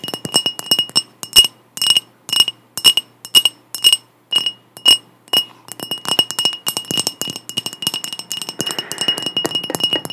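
Long nails tap a clear glass mug that is partly filled with water and held in both hands, making bright, clinking taps with a clear ring near 2.9 kHz. The taps come in quick separate bursts at first, then turn into a steady, rapid flurry of clicks and rings.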